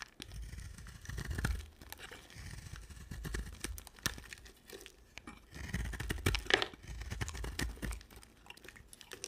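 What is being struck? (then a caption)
Bar of soap. A utility knife blade scrapes and shaves a solid white bar of soap with a red rim. Dry, crunchy scraping strokes come in irregular bursts with a crinkly texture, over soft low thuds from the bar.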